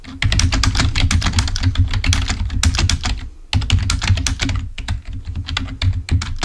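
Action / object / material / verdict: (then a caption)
tap / plastic computer keyboard / plastic / none. A full-size black plastic Microsoft membrane keyboard, wired and lying on a white table, is typed on rapidly with the fingertips of both hands. It makes a dense run of short, dry key clicks with a soft low thump under each press and a bright clatter on top. The typing pauses briefly near the middle, then resumes at the same steady pace.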